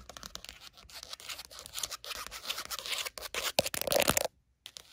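Long matte nails tap and scratch quickly on the card cover of a small red paper notebook with a solid paper stack, lying on a blanket. The result is a dense run of dry, bright scratching and ticking with short bursts and no ring, building in intensity before a brief silence near the end and a few final light scratches.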